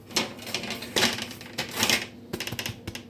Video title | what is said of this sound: Plain oven soda bread and a mixed fruit oven soda(2) | if you can hear that it sounds Hollow lovely